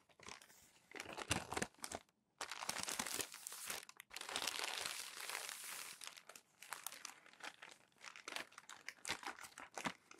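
Fingers lift a crinkled sheet of glossy magazine paper from a stack, and a palm rubs it flat against the pages. Dense, bright crinkling and crackling comes in bursts, with a brief pause around two seconds and a shorter one near four seconds. The sound has almost no low end.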